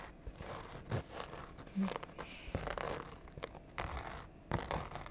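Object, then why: Canvas and rubber sneaker. A single empty cream-white Converse-style high-top sneaker with a canvas upper and rubber sole is held up and turned in the hands, with long painted nails scratching and rubbing the canvas and rubber. Quiet, dry scratchy and tearing-like rustles come in short bursts with a few louder scrapes, mostly low in tone with little bright content.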